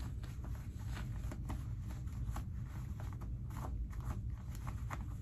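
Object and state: Denim jeans pockets being rubbed.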